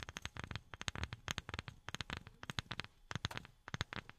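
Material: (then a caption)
Wood. A wooden object is tapped with silicone rubber pads worn on the fingertips. The result is a rapid, uneven series of short, soft, dull taps with a low thump and some brighter click in each, and almost no ring between them.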